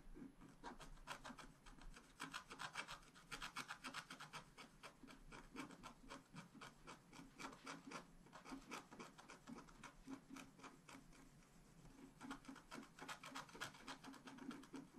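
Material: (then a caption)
Coated paper. A wooden stylus scratches rapidly back and forth across a flat scratch art paper sheet, filling in a patterned area. Quick, dry, raspy strokes come about four per second in an uneven rhythm, with bright, high scratchy edges over a faint steady low tone. The scratching continues throughout at a quiet, close level.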